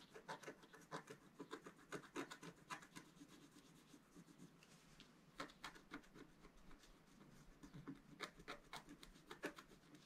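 A wooden stylus scratches lines into a planet drawn on a flat sheet of black-coated scratch-art paper held by the left hand. Quiet, dry, rasping strokes come in quick bursts, each with a bright scratchy edge and almost no ring. The strokes thin to a soft, continuous rub in the middle before the sharper scratching picks up again.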